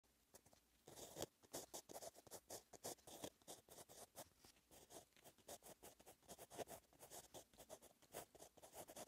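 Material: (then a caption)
Paper. Handwriting with the metal-tipped ballpoint of a blue Pentel gel pen, held in the fingers, on a lined page of an open paperback notebook lying flat. Continuous quick scratching strokes come in a rapid patter of short, bright bursts with little low end.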